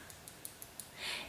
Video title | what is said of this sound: Difference between Fondant, Modelling Paste & Gumpaste and what to use them for! | if you can hear me tap on that it has gone completely solid